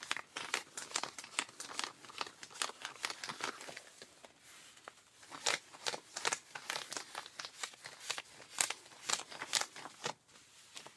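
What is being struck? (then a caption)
Denim jeans fabric. Pink rubber-gloved fingers scratch and rub blue denim jeans stretched over a raised knee. The result is a quick, irregular run of dry, bright scratching strokes with crisp, high-pitched rasps and almost no low end. Brief quieter pauses break up the strokes.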